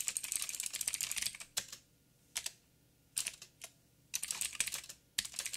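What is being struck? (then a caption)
Mechanical keyboard with plastic keycaps. Fingertips of both hands type on a backlit 87-key plastic mechanical keyboard with plastic keycaps and clicky blue switches. Bursts of bright, crisp clicks run in fast rolls, broken by short pauses and a few isolated keystrokes, each click dying away almost at once.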